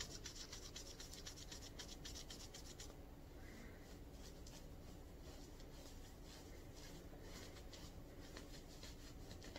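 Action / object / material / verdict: scrape / ribbed knit cotton shirt fabric / cotton knit / none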